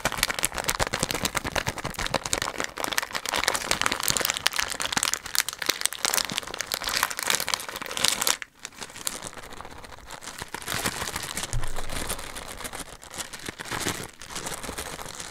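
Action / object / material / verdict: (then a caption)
scrape / plastic film candy bag / plastic film / none. A red and yellow printed plastic film candy bag, about hand length, hollow and partly filled, is held close to the mic and crinkled and squeezed with the fingers. It makes dense, bright crackling and rustling for about eight seconds, then a brief pause and softer, quieter crinkling to the end.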